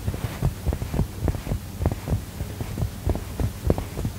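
Fingertips and short nails press, tap and scratch the front of a soft, filled, medium mustard-yellow cushion with a textured woven fabric cover, held against the chest. A quick, irregular run of dull, low thumps sounds over a steady low hum, with faint fabric scratching between the taps.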